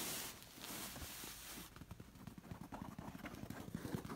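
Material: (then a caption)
Knit fabric. Long nails rub and scratch the textured red and black knit cover of a soft red knit fabric pillow, giving a bright, steady scratchy hiss for about the first second and a half. The sound then turns into a quieter run of short, soft, muffled scratches and light strikes on the cushion.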